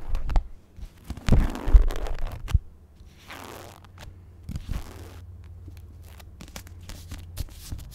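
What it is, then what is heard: Paperback book cover and page edges. Long nails tap the cardstock front cover and the page edges of a paperback copy of The Secret History. Irregular, dry clicking taps are heard, with brushing, papery scratching swells between them over a steady low hum.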